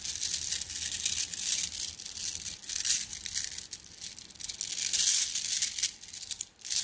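A plastic mesh bag of flat blue glass gems is squeezed by hand, so the gems clink against each other. The sound is a dense, bright stream of tiny clicks and crinkling rattles, rising and falling in waves with almost no low end.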